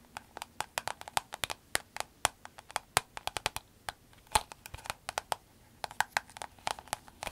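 A soft green vinyl glasses case is held and turned while long acrylic nails tap and scratch its surface. Dozens of quick, dry clicks fall in an irregular patter, each with a midrange body and a bright edge that dies away at once, over a faint rustle of handling.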